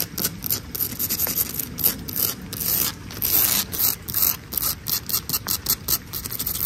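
Long acrylic nails and fingertips scratch and rub across a solid tan textured stucco exterior wall. The result is a rapid series of dry, gritty rasping strokes, bright and hissy in the high frequencies, with short pauses between bursts and almost no ring after each stroke.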